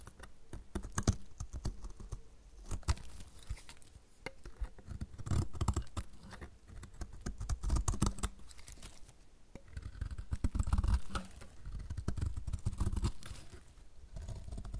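A metal utility blade shaves long curls off the edge of a solid, dry yellow soap bar held in the hand. Each stroke gives a dense, dry scraping crackle with sharp flicks. The strokes come in repeated bursts over a soft, low rumble.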